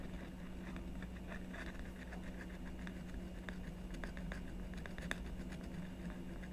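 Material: Coated paper.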